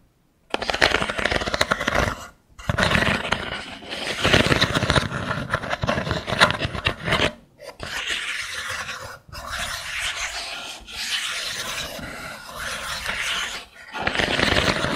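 Long nails scratch and strum across the ridges of a small mat of thin wooden sticks set in a dowel frame. The result is dense, rattling, bright scraping in long passes, separated by brief silences.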